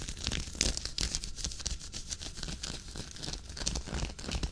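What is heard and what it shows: Fingertips and nails scratch and rub a worn, dark waffle-knit henley sweater near the button placket. The result is a steady stream of irregular, bright, crinkly rasps and scuffs over a soft low rumble.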